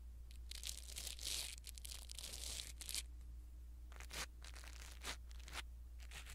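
A blue silicone-bristle ear pick scratches and rubs across a small black foam windscreen on a pin microphone, making close, bright crackly rustling and scraping bursts. The bursts come in clusters separated by brief pauses, over a steady low hum.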